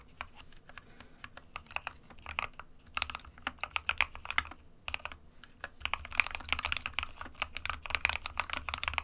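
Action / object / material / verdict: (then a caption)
tap / plastic mechanical keyboard / plastic / none. A small 60% mechanical keyboard with a white plastic case and plastic keycaps, resting on a desk mat, is typed on continuously with the fingertips of both hands. Many quick, bright clacks come in uneven bursts with short pauses, with a low hum underneath.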